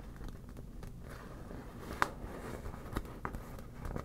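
Long black natural nails tap and scratch the taut surface of a hollow, air-filled yellow smiley-face inflatable PVC beach ball held on a table. A soft, steady scratching and crinkling texture runs throughout, broken by a few sharp, light taps that give a brief hollow ping around 1.2 kHz and die away almost instantly.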